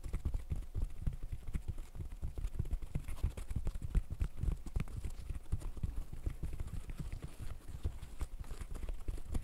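Fishnet-gloved fingertips rapidly pop the bubbles of a green silicone pop-it fidget toy. The result is a dense, quiet stream of soft, dull, low thuds that die away almost instantly, with no bright edge.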